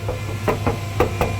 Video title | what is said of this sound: Mahindra Thar CRDe Doors Damping Proof - Installing Grills for Mahindra Thar CRDe Headlights - #137 | damping ചെയ്യാത്ത ഒരു സ്ഥലത്ത് കൊട്ടുമ്പോൾ എന്താ ഈ ഒരു ഒച്ച കേട്ടോ